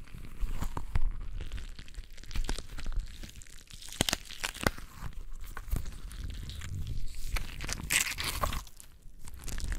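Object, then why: Rubber squishy ball with gel beads. A palm-sized translucent rubber squishy stress ball full of colored gel beads is squeezed and kneaded with the fingers of both hands. It gives off a dense run of wet, sticky crackling and crinkling pops over a low, muffled squish. Sharp bright clicks stand out now and then.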